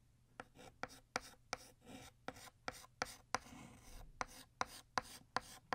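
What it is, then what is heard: Chalk writing on a chalkboard. White chalk retraces the letters of "Happy" on a flat black chalkboard to thicken them, making short, scratchy strokes. About 13 sharp taps and scrapes come in an uneven rhythm, each with a bright, gritty rasp and almost no ring afterward.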